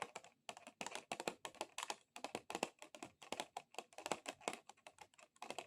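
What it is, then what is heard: Plastic object tapped with long nails. Long acrylic nails tap rapidly on a plastic object, making fast, dry, clicky taps that sound like typing on a keyboard. The taps come in quick bursts with brief pauses, each one short and bright with almost no low end or ring.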